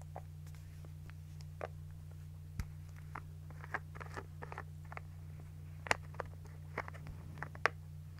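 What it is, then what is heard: Plastic toner bottle. Long nails scratch a partly full white plastic toner bottle and fiddle with its cap. About seventeen short, sharp scratches and clicks come at uneven intervals. A steady low hum runs underneath throughout, and the whole clip stays quiet.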